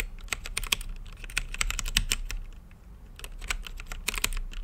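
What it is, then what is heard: Plastic mechanical keyboard being typed on. Fingertips type on an RGB-lit mechanical keyboard with plastic keycaps, a clear acrylic case and Gateron brown switches. Quick, uneven bursts of short, bright clacking taps stop almost instantly, with a brief quieter pause midway over a steady low hum.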